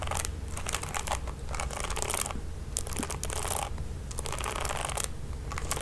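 Long nails strum and scratch the ball-tipped nylon bristles of a red plastic paddle hairbrush. Quick bursts of bright, crackly scratching and ticking come in clusters with brief quieter gaps, over a steady low hum.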